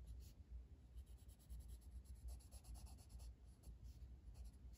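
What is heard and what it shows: A blue wooden colored pencil held in the fingers rubs across a flat paper coloring book page resting on a table in shading strokes. The result is a quiet, continuous scratchy rasp, with soft, faint bright hissing bursts over a low, dull rumble.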